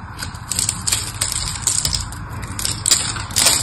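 A small blade carves crumbly flakes off a solid, palm-sized pink bar of soap held in the hand. It makes rapid, bright scraping cuts with crisp crackling over a low rumble.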